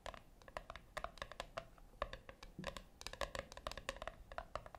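Long nails tap and scratch the top lid of a flat, round brushed-metal tin, giving a quick run of light, bright clicks with short, faint metallic ringing. Between the taps are soft scratching sounds, and each tap fades almost at once.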